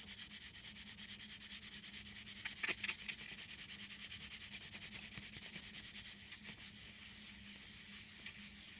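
Long green acrylic nails scratch and rub rapidly across the front of a flat printed paperboard chocolate box held upright, with faint gum chewing possibly layered in. The sound is a soft, steady, bright papery scratching in quick repeated strokes over a faint low hum. A few sharper, louder scrapes stand out near the three-second mark and again near the end.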